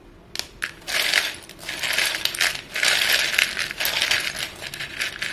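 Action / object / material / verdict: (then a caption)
scrape / short pieces of white chalk in a bowl / chalk / none. Fingertips rake and stir a bowl filled with short, solid white chalk pieces, producing a dense, bright clatter of small clicks and scraping rattles. The sound comes in overlapping bursts with brief pauses, with no low end.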